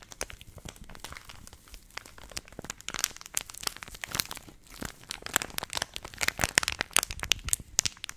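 A purple Nestle Everyday laminated plastic milk powder pouch, held in both hands, is crinkled and squeezed with fingertips and long nails close to the mic. The result is a dense, continuous run of bright, crackly crinkles with sharp, clicky transients and very little low end.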